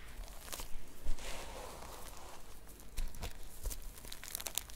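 Long nails scratch and flip the plastic sequins back and forth on a red and silver sequin-covered notebook cover, seen close up. The sound is a soft, crinkly scratching broken by bright clicking ticks as the sequins flip, over a faint low rumble.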